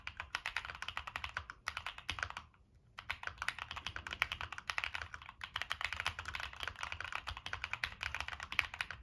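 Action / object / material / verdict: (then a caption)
tap / mechanical keyboard with plastic keycaps and metal case / plastic / none. A Monsgeek M1 mechanical keyboard with a dark metal case and purple and black plastic keycaps is typed on with fingertips, giving a rapid stream of short, bright clacks. A brief pause near the three-second mark interrupts the typing before it picks up again. Each keystroke dies away almost instantly.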